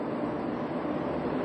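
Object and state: Nothing is struck.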